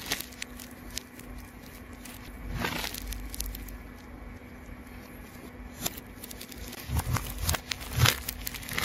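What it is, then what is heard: Plastic tape ball being cut. A rainbow, layered plastic tape ball is cut with a craft knife while held in the hand, giving off steady crinkling and crackling over a low rumble. Sharp, bright snaps of plastic break through, with louder bursts as the blade pushes deeper near the end.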